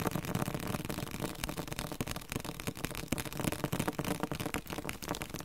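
A yellow-green softcover dictionary, held in both hands with its back cover facing out, is tapped rapidly with the fingertips. The quick, uneven taps are dull and thuddy with low body and a light papery click on top. Each tap dies away almost instantly.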